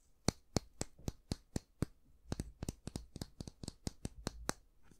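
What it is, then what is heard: Wooden-handled bristle brush. A slim, long-handled bristle brush with a solid light wooden handle is held in both hands while fingernails scratch and rub along the wood and the bristles. About twenty short, dry, crisp clicks are heard, evenly spaced at first, then coming quicker and more uneven with soft scratchy rustling between them. Each click stops at once with no ring.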